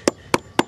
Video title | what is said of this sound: FOUNDATION REPAIR (Part 1) Mike Haduck | Hear that? That's hollow. It's not bad though.